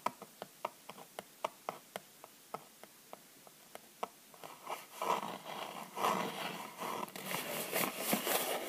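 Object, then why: Thin kraft cardboard box sleeve. Long nails tap the front and back of the thin kraft cardboard sleeve of a small bath bomb box held in the hand. About 17 sharp, dry, short taps come at an uneven quick pace over the first four seconds. The sound then turns into a louder, denser run of scratchy rubbing and rapid tapping on the cardboard.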